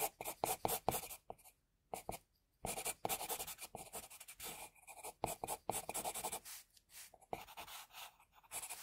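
An HB pencil held in a metal extender draws short, scratchy strokes across a flat white sheet of drawing paper. The result is dry, bright scraping in quick, irregular bursts broken by brief pauses.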